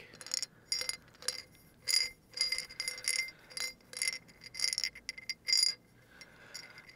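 A small, hollow clear glass jar holding a few small tan pieces is held sideways near the mic and tapped with fingertips and short nails. Quick bursts of bright, glassy clinks and ticks ring briefly with a high tone and a steady note near 2 kHz. There is almost no low end and short quiet gaps between bursts.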